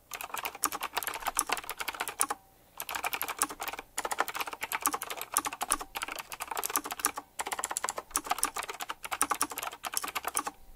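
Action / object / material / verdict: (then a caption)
tap / mechanical keyboard with round plastic keycaps and metal rims / plastic / none. Fingertips type quickly on a full-size typewriter-style mechanical keyboard with round black plastic keycaps, chrome-look rims and a metallic frame. Rapid, crisp clicky keystrokes come in dense bursts separated by a few brief pauses, with a bright, clattering tone and almost no low end.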